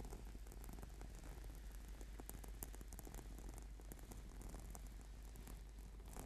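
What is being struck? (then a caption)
Foam rubber yoga mat. Fingertips and nails of both hands scratch and tap the textured surface of a flat purple sticky yoga mat, a solid sheet of rubber/PVC foam. The result is a steady, quiet stream of soft, crackly scratching and dull tapping over a low, rumbling hum, with faint bright scratchy ticks throughout.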